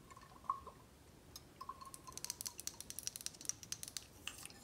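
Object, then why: Glass bottle with liquid. Long acrylic nails tap on a clear, rounded glass tequila bottle with a black cap, held in hand and partly filled with golden tequila, while the bottle is tilted or shaken so the liquid moves. A soft ringing tone and faint liquid movement come first, followed by a rapid series of short, bright, clicky taps on the glass that die away almost instantly.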